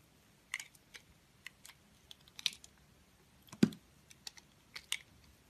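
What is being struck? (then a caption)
Bar of soap scraped with a blade. A snap-off utility blade scrapes and carves the surface of a solid multicolored confetti soap bar held in the hand. Short, crisp, bright scraping clicks come at irregular intervals, with one fuller, lower-bodied cut near the middle. Each stroke stops quickly with almost no ring.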